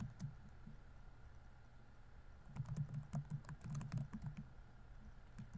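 Fingertips type on the plastic keys of a laptop keyboard, producing soft, irregular clicks that are sparse at first and then come in a quicker burst in the middle of the clip. Each keystroke is a short, dull tap with little ring, heavy in low tones, over a faint steady hum.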